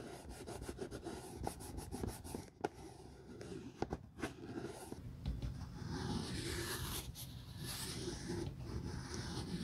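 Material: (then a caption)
Patent leather. A grey cloth rubs along the glossy side and sole edge of a single empty, hollow Hermes patent leather Chelsea ankle boot held in a gloved hand. Soft, low rubbing is broken by short sharp squeaks and taps in the first half, then gives way to steadier, brighter swishing strokes toward the end.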